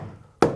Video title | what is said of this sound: Building Evelyn: Fitting, glueing and fastening planks, EP18 | listen to that solid solid it's quite solid